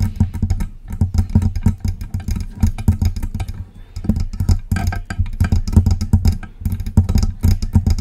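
Long press-on nails tap and scratch the side and front of a silver metal USB microphone. Rapid, close-miked taps and scrapes come through as dense, boomy low thumps centred around 90 Hz, with brief quieter gaps between bursts.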